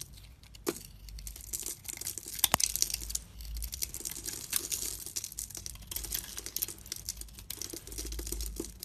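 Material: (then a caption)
Soap. A knife blade carves and scrapes a solid oval bar of soap, glossy pink outside over a white chalky interior, held in a palm with long red nails, shaving off powdery flakes. A steady bright, dry rasping and crinkling runs throughout, broken by sharp clicking scrapes over a faint low rumble.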